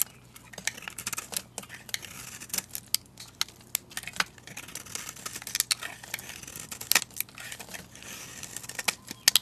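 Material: Soap.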